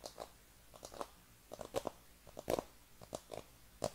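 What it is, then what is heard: Cardboard box tapped and scratched. A hollow black cardboard iPhone packaging box, held in both hands, is tapped and scratched with fingernails. The result is 13 short, dry, crunchy taps in an irregular rhythm, each with a hollow papery knock around 600 Hz and a bright scratchy edge that stops almost at once. Quiet soft scratching fills the gaps between the taps.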